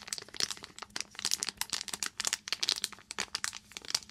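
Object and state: Foil plastic pouch, crinkled.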